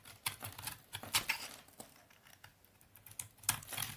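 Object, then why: Bar of household laundry soap shaved with a knife. A utility knife blade shaves and scrapes crunchy flakes off the top of a solid rectangular bar of dry brown Soviet laundry soap held in hand. About a dozen quiet, crisp, bright scraping crunches come in short separate bursts with almost no low end, each ending almost instantly.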